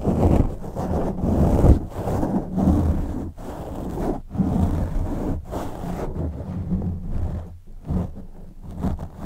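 Fingertips and short nails gently scratch and rub a soft, porous black foam windscreen fitted over a white USB condenser microphone. The result is a close, muffled rumbling and scratching that comes in uneven bursts with brief quiet gaps between them. Nearly all the sound sits in the low range, with almost no bright content.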